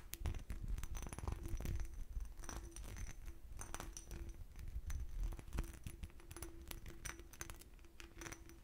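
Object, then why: Small textured glass bottle. Long nails tap and scratch across the raised diamond, bumpy pattern of a small, clear, hollow, empty glass bottle. Rapid, dense clicks and short glassy clinks mix with scraping over a quiet low rumble, and each tap fades quickly with little ring.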